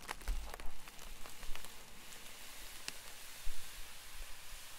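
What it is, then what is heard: Plastic bubble mailer. Bare fingertips press and crinkle a white poly bubble mailer envelope with a silvery lining lying on a desk, producing soft, irregular crackles and rustles. Faint bright ticks are scattered through a low rumbling background, with a few louder pops standing out.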